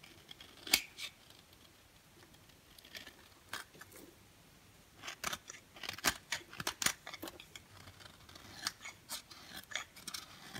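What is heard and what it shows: An orange striped bar of dry soap, held in the hand, is thinned by shaving it with a box cutter blade into powdery flakes. The result is a series of short, dry, bright scraping snips with a quiet gap early on, then denser shaving toward the end.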